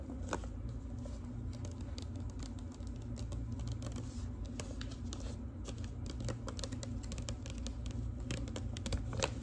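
Long pink nails tap the paper surface of a large yellow-brown manila clasp envelope with a metal clasp, held flat. The sound is a quick, steady patter of light, dry clicks with little ring over a low, constant background hum.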